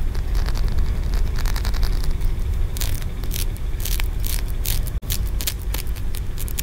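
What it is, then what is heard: Green aventurine stone pagoda. Fingertips and nails tap and scratch along the ridges of a solid green aventurine stone tiered pagoda. Quick bright scratchy bursts and light ticks ride over a steady low rumble, with a brief dropout near the five-second mark.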